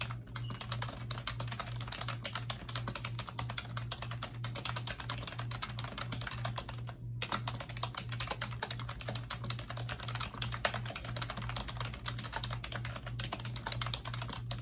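Fingertips with long acrylic nails type rapidly on a pink plastic computer keyboard with round backlit keycaps, sitting on a desk. A dense, steady stream of short, bright plastic clicks and clacks continues over a constant low hum, with a brief pause near the middle before the typing resumes.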